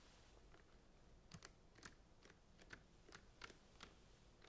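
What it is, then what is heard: Plastic centrifuge tube caps. Fingernails tap quickly on the blue plastic caps of a rack of plastic centrifuge tubes, making about ten light, crisp clicks. Each click is bright and dies away almost at once, heard over a faint, steady low background hiss.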